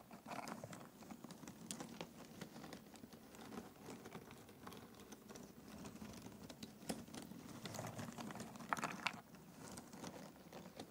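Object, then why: Pile of cardboard jigsaw puzzle pieces. Bare fingertips rake and stir through a large pile of small, thin cardboard jigsaw puzzle pieces in an open cardboard box. The result is a quiet, continuous rustling patter of dense tiny clicks and dry scrapes, with a few sharper clicks standing out, for the whole clip.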